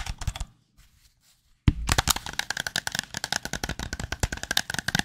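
A white, hollow, handheld plastic gamepad held close to the microphone is tapped with the fingertips. A short flurry of light, dry clicks fades into near silence, then a sharp knock starts a fast, continuous run of crisp plastic taps. The taps have a bright hollow click around 1–2 kHz and die away almost instantly.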